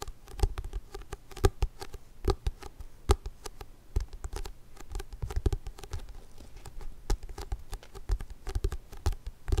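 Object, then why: Large hardcover book. A big book is tapped slowly and repeatedly, giving soft, dull, low taps that die away almost at once. The taps come in an uneven rhythm, some louder than others, over a faint background hiss.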